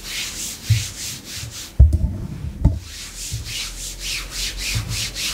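Long pink nails scratch and rub along black glossy faux leather leggings, a thin, soft layer stretched over a raised thigh. Repeated bright, hissy swishing strokes come in a steady rhythm, broken by three short, dull low thumps.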